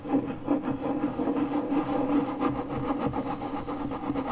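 The tip of a metal car key is dragged in circular scratches over a large, flat, pale MDF fiberboard panel resting on a desk. The result is a continuous, raspy scraping and rubbing that swells and fades with each loop, at about 162 strokes a minute in an uneven rhythm. The tone is mid-range and woody, centred near 280 Hz, with little bass and almost no bright top.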